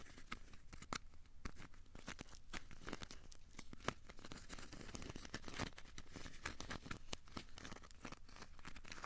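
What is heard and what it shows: A small, solid, crumpled ball of aluminium foil is held in both hands and squeezed and scratched with the fingertips. It makes quiet, steady crinkling and crackling, with a dense run of sharp, bright snaps over a soft, low rustle.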